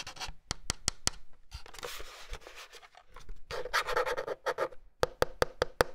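Fingertips and nails scratch and rub across the round plastic keycaps, the yellow plastic frame and the underside of the hollow plastic case of a Logitech Pop Keys plastic wireless mechanical keyboard, about 30 cm wide. Sharp, dry clicks open and close the clip, with scratchy, bright rubbing and brushing in between. A hollow plastic resonance sits near 500 Hz.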